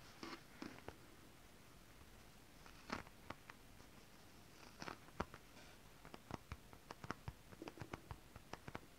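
Long nails tap and scratch on holographic mermaid scale-printed fabric, up close. Soft bursts of scratchy rustle come first, then a quiet run of many quick, dry, crisp taps that speed up toward the end over a faint low hum.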